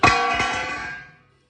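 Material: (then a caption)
Steel. A newly made thick-steel side step (rock slider) on an off-road truck is struck, giving a bright, bell-like metallic clang. The clang rings out for about a second before fading. The ringing tone marks the slider as solid and strong, which is attributed to the very thick steel.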